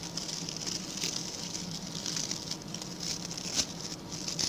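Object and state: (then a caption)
Coconut fiber bristle brush being scratched. A small, round, ring-shaped brush of stiff brown natural coconut-fiber (coir) bristles with a center hole is held in the hand while its bristle tips are scratched, first with fingernails and then with a pink plastic tool. The scratching comes through as a steady, dry, crackling patter with a bright, high hiss and little low end, and one sharper rasp stands out near the end.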